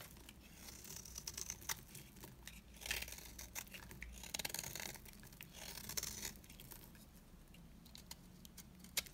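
A metal cutter blade slices and scrapes the cut faces of a solid, dry beige bar soap held in the hands, shaving it into flakes. The clip is a quiet run of dry, crisp, bright scraping and crunching strokes with short, sharp ticks, over a faint low hum.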